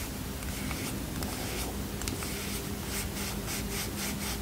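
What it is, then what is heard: Cardboard playing card box. Fingernails rub and tap a small red and white cardboard playing card box, making a steady, dry scratching with bright, rhythmic scraping strokes that grow more regular toward the end. A faint low hum sits underneath at an even, quiet level throughout.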